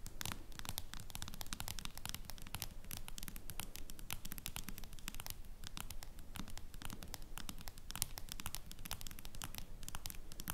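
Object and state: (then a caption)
Smartphone in clear plastic case. Long nails tap and scratch on a smartphone in a clear plastic case. Quick, irregular clicks and scratchy strokes run steadily throughout, each sharp, bright and very short, over a constant low rumble.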